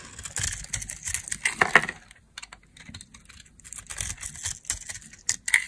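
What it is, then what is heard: Dry soap bar being carved. A metal utility blade carves and scrapes a dry, solid, palm-sized rectangular soap bar, red outside and white inside, held in the hand, cutting it into crisp shavings. Bursts of dry, bright crackling and scratchy clicks come in quick clusters, with a quieter patch in the middle before the scraping picks up again.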